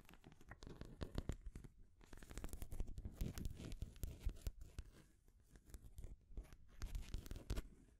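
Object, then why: Painted wooden stacking rings on a wooden base. Long grey nails scratch down the painted wooden rings of a full stacking ring toy set on its wooden base. The result is a quiet, dense, bassy rasping, broken into rapid clicks and short scrapes, that comes in bursts with brief lulls around the two- and five-second marks.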